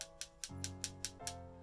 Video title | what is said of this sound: Antique Showcase: The Rimless Monocle | i tap them together you can hear it's a very high pitched sound